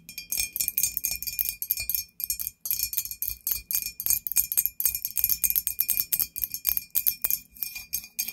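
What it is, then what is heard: Glazed ceramic candle holder. A hollow, white glazed ceramic ghost-shaped candle holder lies on its side while long nails tap and scratch across it. Quick, bright clicking taps and scratchy strokes come in dense bursts, each dying away almost at once, with a faint steady ring under them.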